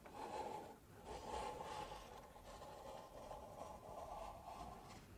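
Long nails scratch and rub the outer wall of two stacked, empty pink paper cups held sideways. The result is a continuous, raspy scraping with a hollow mid-range tone near 850 Hz. The scraping comes in soft, swelling strokes with a faint high hiss.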